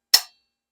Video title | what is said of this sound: All about Vise Grips! You can’t beat the original. | you hear that ring it's just like it's like kind of cheap steel